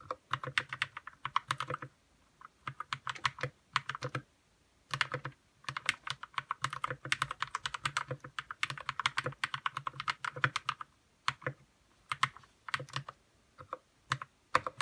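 A white RK61 60% mechanical keyboard with plastic keycaps, lubed red switches and a hollow plastic case is typed on quickly with fingertips. Dense bursts of short, crisp clacks run in flurries with brief pauses between them. The keystrokes carry a mid-pitched plastic tone with some low hollow body.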